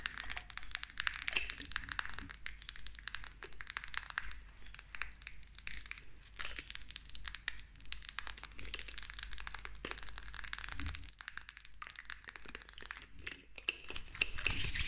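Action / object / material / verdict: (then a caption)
tap / glass pump bottle with plastic pump / glass / none. Long nails rapidly tap and scratch the sides and black pump top of a clear 100 ml cosmetic pump bottle, likely glass and partly filled. A dense stream of sharp, bright clicks and crinkly scratches runs throughout with almost no ring, over a faint low hum.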